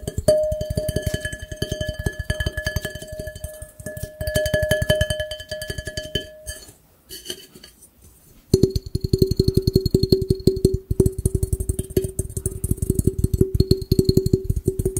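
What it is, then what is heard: Glass fishbowl. Fingertips and nails rapidly tap and rub the thin walls of a large, empty, hollow, round clear glass fishbowl held close to the microphone. The dense, fast taps carry a sustained glassy ringing tone with bright overtones, fading to soft rubbing for a moment before a lower, steadier ring returns under continued quick tapping.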